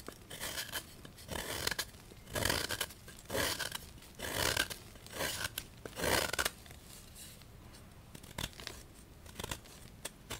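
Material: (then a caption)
Chalk. A solid white gym chalk block of magnesium carbonate, held in the hand, is repeatedly scraped and cut with a small knife over a bowl of chalk powder. The result is a series of bright, dry, gritty scraping strokes in uneven bursts, with quiet pauses between them.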